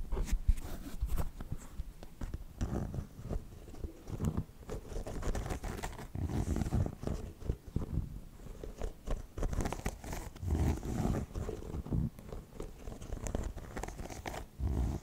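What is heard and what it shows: Fingernails scratch and tap along a treaded white and purple foam and rubber sneaker sole. The result is a steady run of quick, dry, muffled taps and soft scratching rustles, mostly deep and low with little bright content and almost no ring after each touch.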